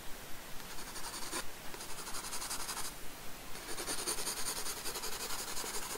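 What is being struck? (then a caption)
Graphite pencil on paper sketchbook. A wooden graphite pencil rubs and scratches lines of a bowl drawing onto a paper sketchbook page, with the sketchbook resting on a wooden desk. Quick, fairly regular bright scratchy strokes come in bursts, with a short pause near the middle, over a faint low hum.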